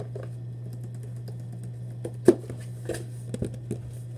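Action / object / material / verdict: tap / cardboard shoebox / cardboard / none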